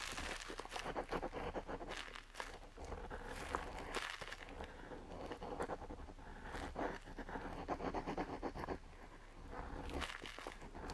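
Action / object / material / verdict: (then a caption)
scrape / parchment-style paper sheet under a metal pen nib / paper / none. A metal nib on a feather dip pen, held by a hand with long nails, scratches short ink strokes across a flat, aged-look parchment-style paper sheet. Quick, irregular, dry scratches and faint crinkly scrapes come in rapid bursts over a steady low hum. The sound stays quiet and close throughout.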